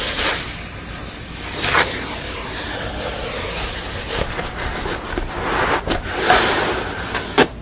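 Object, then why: Painted wooden panel. Long nails tap and scratch across the surface of a thick, sugar-skull painted wooden panel resting on a table. The scratching makes a steady, bright, hissy rasp, broken by a few sharper taps that stand out briefly above it.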